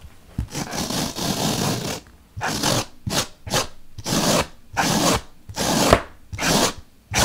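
A bottle brush is poked repeatedly into the surface of a large, solid white melamine foam magic eraser block, producing about ten short, breathy scratching and rubbing bursts with brief pauses between them. Each push gives a dry, bright, hissy scrape with little low end, and the first burst runs longer than the rest.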